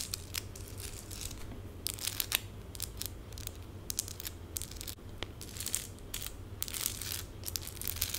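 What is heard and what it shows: Long pink acrylic nails on one hand scratch fast across small, colorful plastic stick-on rhinestones densely covering the back of the other hand and fingers. The result is quick, bright, crackly scratching bursts in uneven clusters over a steady low hum.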